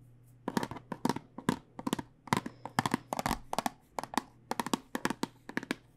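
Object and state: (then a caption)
Plastic tube of dice tapped with fingertips and nails. Fingertips and nails tap on a clear plastic tube full of dice, held horizontally, with a cardboard end. The result is a quick, uneven run of short, dry, clicky taps with bright edges and almost no ring. A faint steady low hum sits underneath.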